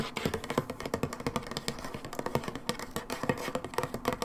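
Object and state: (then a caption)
Plastic bottle. Long nails tap rapidly along the side of a brown plastic hydrogen peroxide bottle lying on its side, making about thirty quick, light, hollow clicks. Each tap stops almost instantly, with a mid-toned plastic knock and little low thud.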